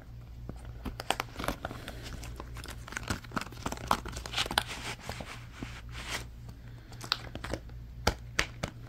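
An orange silicone pop-it toy is held close and squeezed and crumpled by fingers, giving a run of soft crinkling and rubbery rustling broken by sharp, bright snaps and pops. A steady low hum runs underneath throughout.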